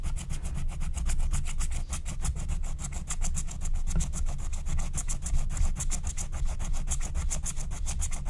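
A wooden stylus rubs and scratches the wax coating of a flat, thin, black-coated scratch-art card (wax-coated paper) in short strokes. Rapid, steady, rhythmic scratches with a bright, high rasp sit over a constant low rumble.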